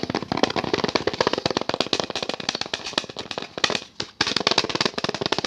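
A thin, flat, hand-sized orange-painted wooden picture frame with a brown backing board is held in both hands close to the mic and rapidly tapped and scratched with fingertips and nails. It makes a dense, fast flurry of dry, bright clicks and scratches with almost no ring, and a brief pause just before the 4-second mark. The tapping then resumes at the same quick pace.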